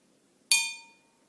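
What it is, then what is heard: Glass with more water, lower pitch. A glass holding more water is tapped once for comparison, giving a single bright clink that rings at about 2.4 kHz with a faint lower tone near 900 Hz. The ring fades over roughly half a second, and the extra water makes the pitch lower.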